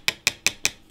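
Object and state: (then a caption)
Wooden fingerboard deck, sounds like wood. Four sharp knocks on a cheap wooden fingerboard deck from AliExpress, costing about 2.70 euros, with a red line down the middle. The knocks are short, bright, high taps with almost no low end, and each dies away almost at once. The deck sounds like wood.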